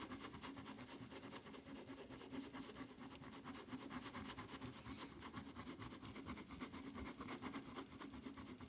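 Long nails slowly scratch the footbed of a white rubber flip-flop with a red strap. The result is a steady, continuous rasping texture with soft, regular strokes and a bright, hissy edge.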